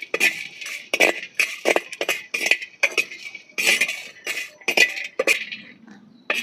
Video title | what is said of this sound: আজকে বাড়িতে পাহাড়ি স্টাইলে শুটকির ডাল রান্না, একবার খাইলে ভুলতে পারবেন না। Villfood cooking | শুটকি মাছগুলো ভেজে নিলাম। একদম করা করে। এই যে ঝনঝন শব্দ হচ্ছে।